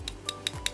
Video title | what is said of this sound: 【シャーペン】凄すぎるオレンズネロの外側とは！！【ぺんてる】 | 樹脂ABS樹脂でできているみたいです この音で結構分かりますね軽い音がします